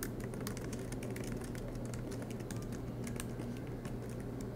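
Fingertips with short nails type quickly on the black plastic keycaps of a silver MacBook Pro with an aluminum body, lying flat on a desk mat. The result is a steady stream of soft, bright key clicks over a constant low hum.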